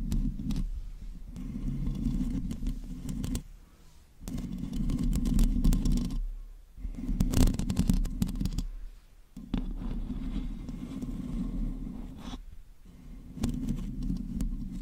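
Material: Metal mesh.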